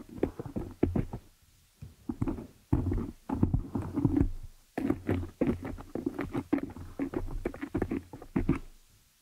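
Long nails of both hands tap and scratch the dark metal mesh grille of a large, hollow, Blue Yeti-style desktop condenser microphone. Bursts of quick, dry taps and rough scratching carry a deep, boomy low thump and die away almost instantly, with brief pauses between the flurries.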